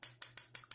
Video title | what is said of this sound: Estée Lauder Cinnabar review. | This, of course, is, glass. You can hear it